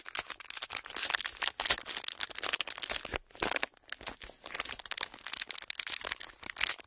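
An empty, pleated clear plastic wrapper is squeezed and crinkled between fingers, giving a dense run of sharp, bright crackles with almost no low end. The crinkling briefly quiets a little past the midpoint, then resumes just as busy until the end.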